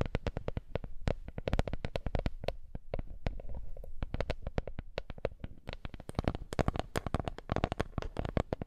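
A small, flat, woven wooden lattice coaster is tapped rapidly with long nails and then touched with fingertips up close. The result is a dense run of dry, short clicks and taps with almost no ring, mostly low and muffled in body with sharp bright tips on each hit.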